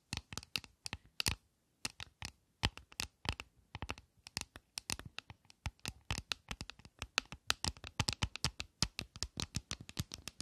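Long nails scratch and tap the flat lid of a closed, hollow, flat white Tom Ford eyeshadow palette case with a gold rim, likely plastic. A rapid, irregular stream of sharp, bright clicks and scrapes sounds with almost no ring, pausing briefly near the start before continuing steadily.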